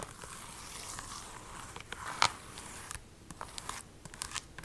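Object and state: Plastic game case tapped and scratched with long nails.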